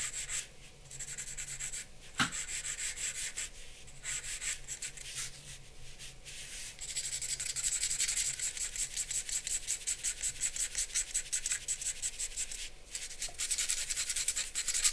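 A charcoal pencil held at an angle rubs broad hatching strokes across a large white drawing paper sheet resting on a black board on a wooden desk. Bright, dry scratching comes in short bursts with small pauses, then settles after about seven seconds into a steady run of quick back-and-forth strokes with a high hiss.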